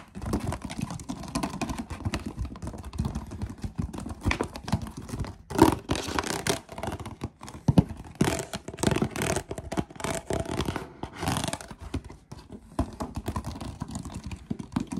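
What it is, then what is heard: Plastic water bottle. Fingertips rapidly tap and scratch along the ridged body of a large, clear plastic water bottle with a blue cap, which appears empty and is held in both hands. The result is a dense, fast stream of short, dry, hollow clicks and thumps with scratchy rasps, weighted toward the low end and fading almost instantly. Occasional louder bursts stand out from the steady chatter.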